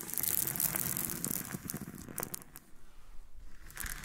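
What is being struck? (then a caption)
Loose freshwater pearls. A cluster of small, solid nacre loose freshwater pearls on a pink surface is rubbed, scratched and rolled against each other by both hands with long painted nails. The result is a dense stream of fine clicks and crisp, bright scratching with a crinkly texture. It is busiest in the first half, then thins into quieter, scattered bursts of rubbing.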